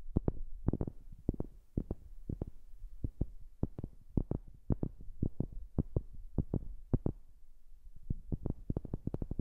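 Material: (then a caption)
Wood. Fingers tap on a wooden object, recorded close on a new microphone. A quick, uneven run of dozens of short, dull, low-pitched knocks, each dying away almost at once, sits over a faint low hum. No condition of the wood is judged.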